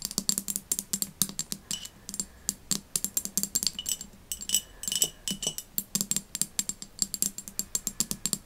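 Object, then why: Glass jar with glass lid. A medium empty clear glass jar with a glass lid is tapped and scratched with long nails while the lid is handled. Dozens of quick, bright clicking taps land in uneven bursts, each dying away almost instantly, with faint scraping between them and a low body tone under the clicks.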